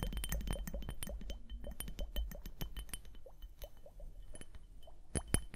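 A small clear plastic liquid hourglass, full of liquid and beads and held on fur, is tapped and scratched with long nails. Quick, dry, bright clicks and taps come in a steady, uneven patter over a soft low rumble, with a couple of louder taps near the end.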